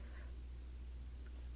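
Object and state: Nothing is struck.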